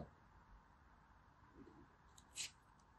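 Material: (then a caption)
Pressed soap. A hand-sized, solid, green, sandy-textured pressed soap shaped like a turtle is held in the fingers while a small metal blade scrapes and cuts into it, and it crumbles as it is cut. A quiet, steady gritty hiss runs throughout, with a soft crumbly rustle and then one brief, bright, sharp scrape standing out as two distinct moments.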